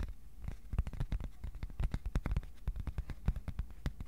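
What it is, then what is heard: Cardboard sheet tapped with fingertips. Fingertips tap the surface and edges of a flat, thin white cardboard sheet held up at an angle in both hands. Quick, soft taps follow one another in an uneven, rapid patter; each is a dull, low thump with a brief crisp click on top that dies away almost at once. The tapping stays quiet and continuous throughout.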